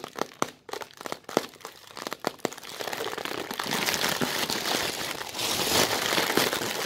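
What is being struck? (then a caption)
Thin plastic bag. An empty, thin, translucent white plastic bag has its folds crumpled and rubbed between fingertips with long red nails. Sharp, separate crinkles and snaps come first, then build into a steady, bright, hissing crinkle that fills the rest of the clip.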